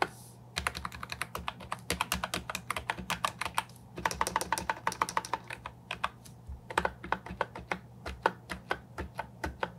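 Fingertips and nails type on a compact Ajazz 308I plastic keyboard with round typewriter-style keycaps, giving a fast run of sharp, bright clicks with a light, hollow plastic ring. A steady low hum sits underneath, and the typing comes in quick bursts separated by short pauses.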